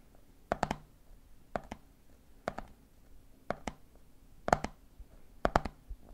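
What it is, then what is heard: Plastic jar lid tapped. Fingertips tap the red plastic screw lid of a medium, hollow, clear plastic jar full of peanuts while the other hand holds the jar. The taps come in six evenly spaced groups of quick, dry clicks with a hollow tone near 711 Hz, each dying out almost instantly over a quiet background.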